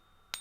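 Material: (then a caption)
Precious metal. A precious metal coin, not a gold one, rests on the silicone tabs of a pocket pinger and is tapped once with a soft wooden stack stick. A single bright, clear, high ringing tone sounds and fades slowly, the ring expected from genuine bullion.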